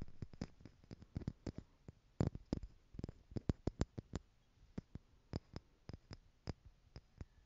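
Long nails tap the lid of a small stack of clear plastic jars holding gold glitter, hollow and partly filled. About thirty quick, irregular taps come through as quiet, dry, hollow clicks with a low thud and a brief bright edge. Each tap dies away almost instantly.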